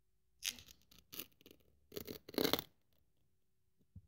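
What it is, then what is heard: Thin polyethylene foam sheet being cut. A craft scalpel blade cuts through a thin white polyethylene foam sheet laid over cut strips on a wooden table. A series of quiet, bright, scratchy slicing strokes comes in short bursts, with a longer rasping cut near the middle and a faint tap at the end.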